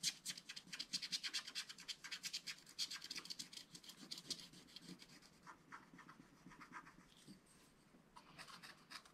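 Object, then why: Scratch-art paper page scraped with a wooden stylus. A wooden stylus held in the fingers scratches the coating off a scratch-art card page in a spiral book, working around a zebra figure. Quick, irregular bright scratching strokes repeat, loud and dense at first, then fade into softer, sparser rasps before a few louder strokes return at the end.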